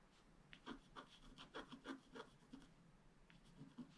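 A wooden stylus scratches short strokes into the black coating of a flat scratch-art card. About nine quiet, dry, raspy scrapes come in an uneven rhythm, each with a brief bright hiss and a low body around 270 Hz. Every stroke stops almost at once, with no ring.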